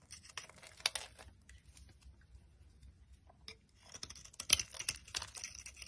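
A box cutter blade scrapes and cuts dry flakes off a solid, hand-sized, pale cream bar of soap. Bright, crisp crackling and scratchy chipping bursts come in two busy stretches, one at the start and a louder one near the end, with quieter, sparser scraping in between.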